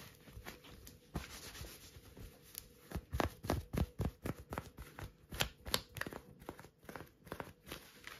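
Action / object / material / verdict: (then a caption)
scrape / knit cotton work glove with rubber grip dots / cotton / none. Long nails scratch and rub an orange knitted cotton work glove with a soft feel and a black rubber-dot grip. Soft rubbing and dry, crinkly scratches start quietly, then build into a fast, irregular run of sharp, bright scraping strokes, each ending almost instantly.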